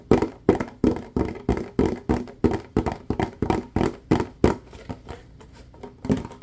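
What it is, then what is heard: Mostly empty plastic bottle. A clear, mostly empty ribbed plastic bottle is held sideways and tapped and scratched with fingertips and nails. The result is a fast, slightly uneven series of hollow, dull thunks around 355 Hz, each dying away almost immediately, with a light scratchy texture between them. The taps grow softer near the end before one last firmer hit.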